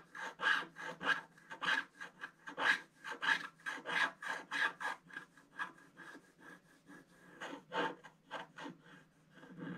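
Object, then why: Coated scratch art paper sheet with wooden stylus. A wooden stylus scratches an orange figure into a flat scratch art paper sheet with a black coating, working in short strokes. About twenty dry, raspy scraping strokes come at an uneven pace, each a brief rub with a bright, papery hiss that centers around 1.7 kHz and stops almost at once.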